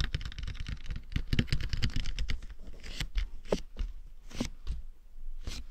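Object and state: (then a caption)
Hard plastic dummy head shell tapped and scratched. Fingertips tap and lightly scratch the sides and forehead of a matte black, hollow, hard plastic dummy head microphone. The sound is a quick run of dry, close taps and scratchy rustles with a deep, hollow low-end thump and short, bright scratch bursts.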